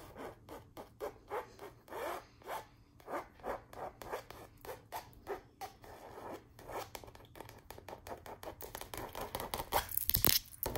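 Long nails rub and scratch across the surface of a canvas wall art print showing a chandelier. Quick, dry, scratchy strokes repeat at an uneven pace, quiet and close. Toward the end they grow denser and louder, finishing with a brighter, harsher scrape.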